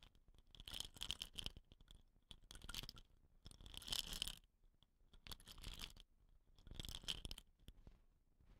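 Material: Bamboo.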